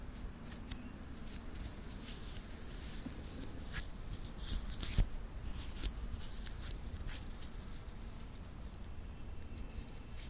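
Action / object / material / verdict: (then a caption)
tap / titanium link watch bracelet / titanium / none. A wristwatch with a titanium link bracelet is held in both hands while the fingertips bend the metal links and click them against each other. Sharp, bright metallic clicks and faint jingling rise above a soft rustle and low background rumble, with a few louder snaps standing out.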